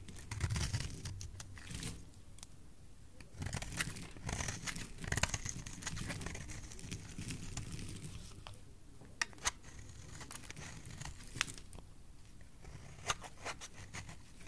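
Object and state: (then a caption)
Soap bar being carved. A solid oval blue soap bar is carved into thin strips with a utility knife blade. Crisp, dry scraping and crinkling cuts come in bursts over a low rumble, with sharp bright clicks and short ticks that stop almost instantly.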